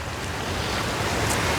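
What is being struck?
Nothing is struck.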